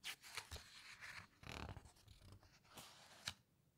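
Fingertips and long nails press and rub against the glossy paper pages of a large open hardcover photo book about underwater wrecks, then slowly turn a page. Bright, crinkly rustling and smooth sliding swells are heard, broken by a few sharp, high paper ticks, before the sound fades to a quiet hiss.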